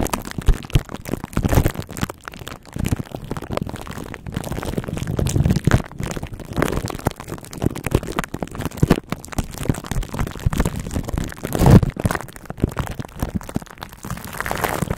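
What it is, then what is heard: Plastic cling wrap over a microphone grille. Long acrylic nails scratch and tap across clear plastic cling wrap stretched tightly over the hollow metal mesh grille of a large silver condenser microphone. The result is a continuous stream of close, crinkly plastic-film scratching and quick soft taps, heavy in low frequencies.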